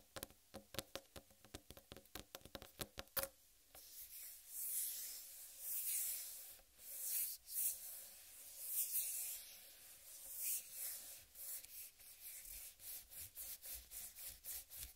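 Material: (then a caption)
Melon rind. A large, whole, uncut watermelon with a green striped rind is rubbed and scratched with fingertips and long red-painted nails. A quick run of crisp taps with a hollow knock is followed by bright, hissy scratching that swells in slow strokes. Rapid light clicks and scratches return at the end.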